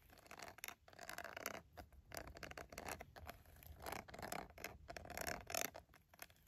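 Fingertips, nails and a red pen scratch the smooth textured side of a green silicone glove. A quiet, continuous run of dry scratching and scraping comes in irregular bursts, with brief crackly ticks and a bright, hissy edge.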